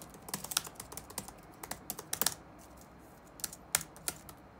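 Fingertips of both hands type on the dark plastic chiclet keyboard of a laptop resting on a wooden desk, its hollow keys sitting over a solid chassis. Quick, bright, dry clicks come in an uneven run, pause for about a second, then return as a few sparser taps. Each keystroke dies away almost at once.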